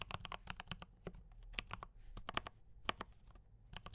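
Fingertips type on a D84 mechanical keyboard with brown switches and cream and red plastic keycaps. Quick, sharp keystroke clacks come in an irregular run with bright tops, a soft low thump underneath, and almost no ring between strokes.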